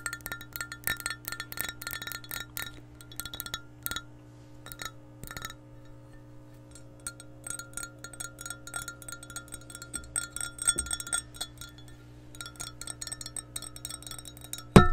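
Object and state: Glass measuring cup.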